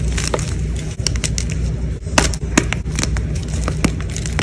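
Fingers with blue nails quickly squeeze and crumble pieces of a white gym chalk block among chalk chunks and powder. The result is a steady, fast run of dry, bright crackling crunches over a constant low rumble.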